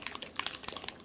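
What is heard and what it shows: A plastic bottle of fluorescent pink acrylic paint is shaken, and the small mixing ball inside rattles in quick, bright, dry clicks with almost no low end. The rattle of the ball shows the paint is mixed and ready to use.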